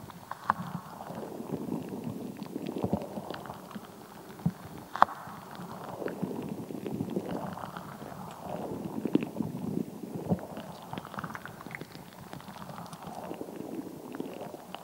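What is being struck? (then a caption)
Rubber squishy ball with gel beads inside. A translucent, solid rubber squishy ball full of colored water gel beads is squeezed and scratched with long acrylic nails. The result is a soft, wet squelching and rubbery crackle in repeated swelling waves, with sharp clicking taps and scratches scattered throughout.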